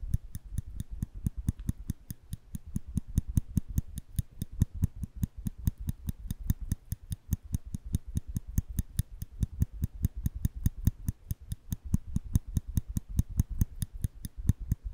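A small, solid steel nail clipper is held flat in the hand while its lever is pressed by the fingers, producing a steady stream of quick, dry metal clicks. Each click is short with almost no ring and mostly low-end body, repeating at a fast, somewhat uneven pace throughout.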